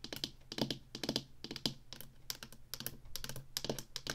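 Long nails tap quickly on the sides of a small, hollow black plastic Atari joystick controller held upright. It produces a rapid, uneven run of bright, clicky taps with a faint low hollow body. Each tap dies away almost instantly.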